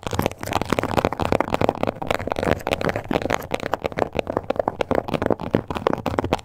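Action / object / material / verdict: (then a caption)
scrape / textured leather wallet scratched and tapped with long nails / leather / none. Long acrylic nails with black tips scratch and tap across the raised scales of a small, flat pink wallet or card holder in crocodile-embossed leather, possibly faux, with stitched edges, lying on a table. A dense, crackly run of rapid scratches and sharp, dry taps follows, centered in the midrange with little bright content and no lingering ring.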